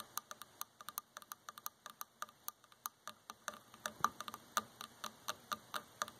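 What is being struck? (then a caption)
Varnished wooden chair armrest. Fingertips and long nails tap and scratch the arm of a dark varnished solid wooden chair. Around 32 quick, dry, bright ticks sound at an uneven pace, each dying away almost instantly, with almost no low end.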